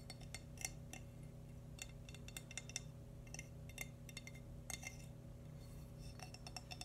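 Fingernails tap the sides and sole of a small, hollow, glazed cream ceramic baby bootie with a name written on the sole. The taps come as a series of quick, bright clinks with a tone around 2 kHz that stop almost instantly, over a steady low hum.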